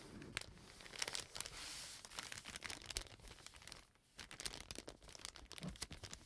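A brown kraft paper bag with a dark stripe is held up, then laid flat and rubbed and pressed with fingertips. It gives dense, bright crinkling and crackling with sharp, short snaps, pausing briefly to near silence before the rustling resumes.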